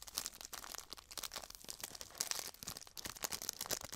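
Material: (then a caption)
Plastic. A small clear plastic bag full of dried herbal tea is crinkled and handled by fingers and long nails as it is opened over a tray. The result is a quiet, continuous stream of bright, crisp crackles and rustles, with many overlapping sharp, short crinkles and almost no low end.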